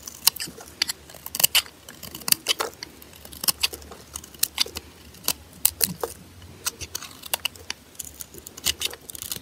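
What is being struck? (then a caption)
Bar of soap cut with a metal blade. A metal blade scrapes and carves curls off the face of a solid white, glitter-coated bar of soap held in hand. The result is a rapid, irregular run of short, dry, bright scratching crackles with almost no low end, each cut stopping sharply with no ring.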